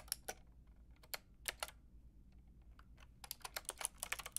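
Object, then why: Plastic mechanical keyboard. A Lofree mechanical keyboard with a white plastic case and round pink and grey plastic keycaps is typed on with fingertips and long red nails. Thirteen sharp, bright clicks sound over a faint low hum: a few scattered taps, a quiet pause, then a rapid burst of tapping toward the end. Each click stops almost instantly with no ring.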